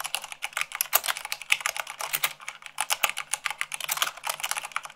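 Rapid typing at about 98 words per minute on a white plastic mechanical keyboard, struck with fingertips and long nails. A dense stream of short, bright, clicky keystrokes with almost no low end, each dying away almost instantly.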